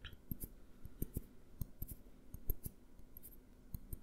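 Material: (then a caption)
Glass. A small clear glass jar with a green label, held upright and then tilted, is tapped with fingertips and nails. Twelve quick, quiet taps each give a soft low thump with a bright clicky edge and die away at once with no ringing.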